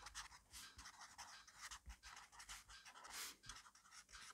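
A black fineliner pen writes fast cursive in an open grid-paper notebook on a desk, its tip scratching across the paper. Quick, bright scratchy strokes come in rapid bursts with short pauses, staying quiet with little low end.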